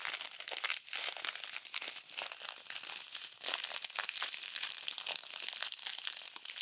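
A small clear plastic bag full of tiny multicolored foam beads is squeezed and folded with fingertips and long nails. It gives a dense, continuous crinkling and crunching that is almost entirely high and bright, with rapid overlapping bursts. There are brief dips near 0.8 and 3.4 seconds.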